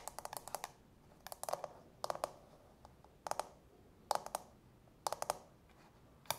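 Long natural fingernails tap and click on the clear plastic dome-shaped insert of an empty, hollow frosted plastic manicure bowl. About twenty sharp, dry clicks come in quick bursts of several at a time with short pauses between. Each click is bright and centered around 850 Hz, with almost no ring after it.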